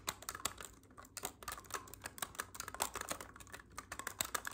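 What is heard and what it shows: Fingertips press and click the silver metal keys of a hollow black clarinet held upright. The result is a quiet, rapid, irregular run of short, dry clicks and taps with a bright edge and almost no low end, each snapping off instantly.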